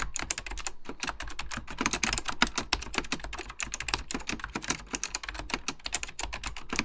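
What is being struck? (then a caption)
Plastic mechanical computer keyboard. Fingertips type rapidly on an Apple Extended Keyboard II, a mechanical computer keyboard with beige plastic keycaps and a hollow plastic case. A steady stream of short, sharp key taps clatters with bright clicks over a hollow low thump, and each tap dies away almost instantly.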